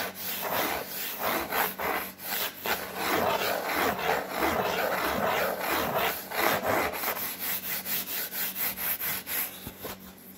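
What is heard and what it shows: Long fingernails scratch and rub across a large, flat, brown corrugated cardboard sheet. The result is a dry, rasping scrape repeated in quick, uneven strokes, with a bright hiss over a softer papery rustle.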